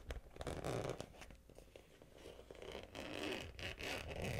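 Long-nailed fingers pull the zipper on a small, hollow, pink glossy vinyl Hello Kitty cosmetic pouch and open it. The result is a run of quick, dry zipper rasps and scratchy crinkles with soft taps in between, rising louder toward the end.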